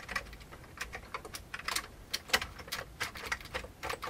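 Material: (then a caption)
Plastic. Fingertips of both hands type on a full-size vintage beige plastic computer keyboard with hollow keycaps. The result is a quick, uneven run of sharp, bright plastic clicks and clacks that stop almost instantly, with little low end.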